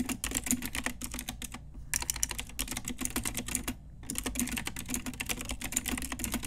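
Long nails and fingertips tap rapidly across an Ajazz full-size pink mechanical keyboard with round plastic typewriter-style keycaps on a hollow plastic case. The result is a steady stream of bright, sharp clicks over a low hollow thump, briefly pausing twice before resuming.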